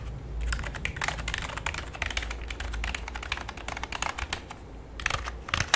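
Fingertips type on the number pad and main keys of a full-size black plastic computer keyboard with a hollow body. Quick, bright plastic clicks rattle out in dense bursts, short pauses and a final flurry, with a steady low hum underneath.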